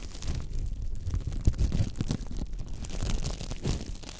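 Fingers flick and scratch the row of bristles on a thin, flexible pink silicone scrubber pad. The result is a dense run of soft, rubbery ticks and scratchy crackles over a heavy low rumble, with a few sharper flicks standing out and bright grainy texture on top.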